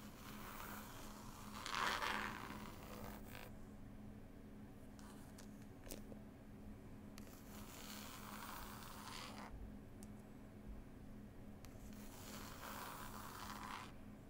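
Long pointed acrylic nail tips slowly scrape and tap on the illustrated paper label of a green linen-cloth, book-style hardcover CD case. Soft, bright scratchy strokes come in three drawn-out passes, with faint taps between them over a low, steady hum.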